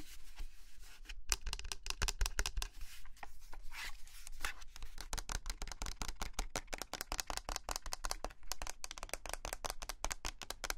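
Long nails tap quickly on the shell of a small white hollow plastic mini humidifier lamp with a round window, held in the hand and turned while it is not running. The result is a fast, steady stream of dry, bright plastic clicks and light scratchy taps with almost no ring, over a constant low hum.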